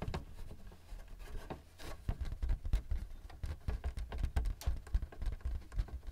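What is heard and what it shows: Fingertips tap rapidly on the face of a thin white plastic paper-support flap standing up on a Canon printer, with both hands holding the flap and the hollow printer body below. The result is a quick, continuous patter of soft, dull taps with a deep, hollow low-end thump. Each tap dies away almost instantly.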